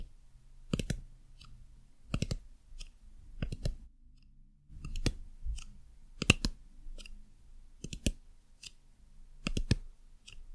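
Long nails tap the underside of a white silicone dumpling lamp, striking its plastic base panel, label and surface. The taps land as short, dry clicks in quick clusters, with bright edges over a faint low hum, and each one dies away almost instantly.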